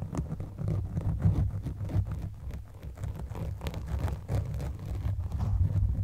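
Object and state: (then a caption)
Foam microphone windscreen being scratched. The teeth of a blue plastic comb scratch across a black foam windscreen covering a microphone. The result is a dense, muffled, bass-heavy rustling of rapid, irregular strokes that swell and fade, with almost no bright content.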